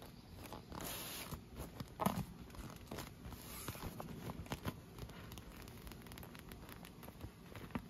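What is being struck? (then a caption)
Inflated PVC vinyl pool lounger. Long nails tap and scratch along the tubes of an inflated, hollow, air-filled clear PVC vinyl pool lounge. Soft, dull taps with a low body mix with dry scratching and crinkly rustling, broken by a few sharper ticks that die away almost at once. The overall level stays quiet.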